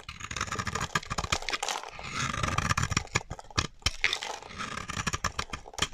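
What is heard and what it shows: A metal utility knife blade carves a solid, dry white bar of soap held in the hand, breaking off brittle chips. Dense, crunchy scraping cuts run throughout, with rapid sharp clicks and snaps over a bright, gritty hiss and a low rumble underneath.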